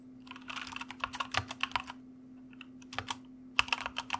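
Fingertips of both hands type on a white mechanical computer keyboard with plastic keycaps. Quick, bright clacks come in bursts, with a brief lull around the middle, over a faint steady low hum.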